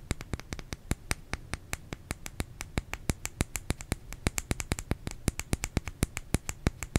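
Fingernails tap rapidly on a bar of soap, making about 47 sharp, dry clicks with bright tops and almost no ring. A steady low hum sits underneath the tapping.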